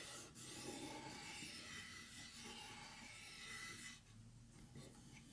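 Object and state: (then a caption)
Painted wooden plaque being rubbed and scratched. Fingertips and short nails rub and scratch across the first of three small, flat, solid painted wooden (likely MDF) Easter egg plaques in pastel blue, pink and green, joined by jute twine and lying flat as a garland. A continuous, bright, dry rasping scratch runs steadily throughout, then drops somewhat quieter for the last second or so.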